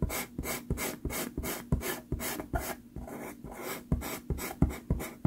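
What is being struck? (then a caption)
Sanded pastel card scratched with a pastel pencil. A black pastel pencil, held close to its tip, scratches short strokes across a small taped sheet of sanded Pastelmat pastel card to fill in a pupil. The result is a rapid, steady run of dry, gritty rasps, each stroke a brief bright burst over a soft low rub.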